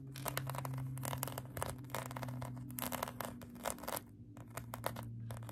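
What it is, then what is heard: Foam squishy toy being scratched. Long acrylic nails scratch a pink polyurethane foam donut squishy toy, making a rapid series of short, dry, bright scratching strokes. A steady low hum runs underneath throughout.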